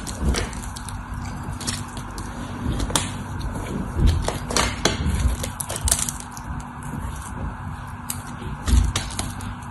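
A utility knife carves the edge of a solid white bar of dry soap held in the hand, peeling off curled shavings and crumbly flakes. The result is a steady run of soft, crisp scraping and cutting sounds, with a low, muffled rumble beneath and sharp bright clicks and crackles where the blade bites in.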